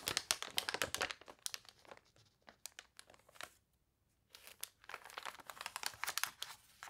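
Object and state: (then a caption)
Water-warped glossy paper catalog. Long nails scratch the wavy, glossy pages of a water-warped paper toy catalog and turn them, making dense, bright crinkling and crunching sounds. The rustling thins out and falls nearly silent for a moment midway, then picks back up as busy crinkles and scratches.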